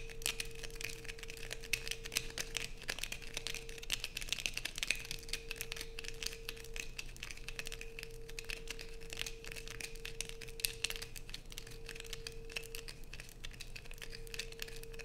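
A light-blue bar of soap is held in both hands while long nails scrape across it and peel off shavings. The result is a dense, continuous run of dry, crackly scratching and crinkling with bright edges, over a steady faint hum near 450 Hz.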